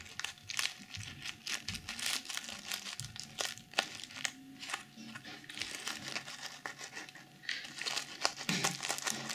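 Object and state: Sequin fabric pouch.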